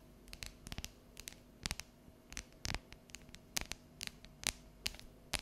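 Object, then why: Dark chocolate bar tapped and scratched with fingernails. Long yellow nails tap and scratch the ridged squares of a solid, unwrapped dark chocolate bar held tilted. The result is a run of sharp, bright clicks and short scratches at an irregular pace, over a low steady hum, with each tap dying away almost instantly.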